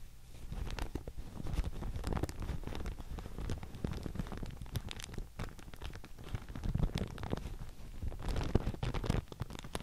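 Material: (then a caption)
Paper. A thin grey-white Thai mulberry paper sheet with a handwritten label is held up in both hands while long painted nails scratch, tap and crinkle it. The result is a steady run of dense, dry crackles and soft taps, mostly low and muffled with occasional brighter crisp edges, continuing throughout.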